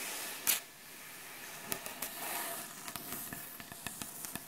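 Long acrylic nail tips scratch and tap on the solid, light wooden surface of a butcher block board. A brief bright hissing burst opens the clip, followed by a steady high scratching hiss. About a dozen sharp, quick taps then stand out over the scratching.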